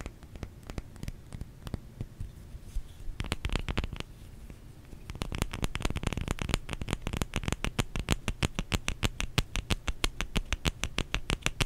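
Fingertips tap on a solid bar of soap, producing short, dry clicks with a soft low thump and a bright edge that stop almost instantly. The taps begin sparse and light, grow louder in a brief cluster, ease off, then settle into a fast, fairly steady patter of about three taps per second until the end.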